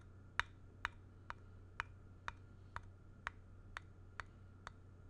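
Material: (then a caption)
Wood. The flat back face of a square, solid, grey-painted wooden block is tapped and traced with the point of a thin black stick or pen. Eleven short, dry, bright ticks land at a steady pace of about two per second, each centred near 1.7 kHz and dying away almost instantly. A faint low hum runs underneath.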